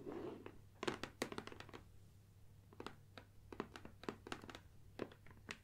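Long dark nails tap and scratch the top and sides of a closed, upright, medium-size, hollow gold Nikon cardboard lens box standing on a wooden table. Dry, hollow, quickly fading taps come in irregular bursts, with a soft brushing scratch at the start, over a faint low hum.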